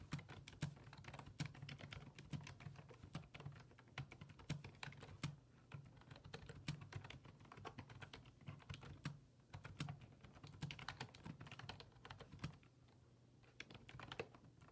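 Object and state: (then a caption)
Plastic computer keyboard being typed on. Fingertips type rapidly on a black plastic full-size desktop keyboard with low-profile keys resting on a wooden desk. Dense, quick key clicks carry bright tops over a low hum, with occasional short pauses and a quieter stretch near the end.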